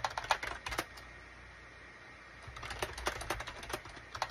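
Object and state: Plastic computer keyboard.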